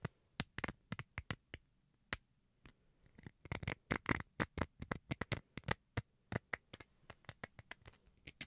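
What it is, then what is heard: Plastic rice paddle being scratched. Fingernails scratch the textured surface of a small, solid white plastic rice paddle held in the hand. About three dozen quick, dry strokes are heard, each a short bright scratch with no ring. A denser flurry of strokes comes midway.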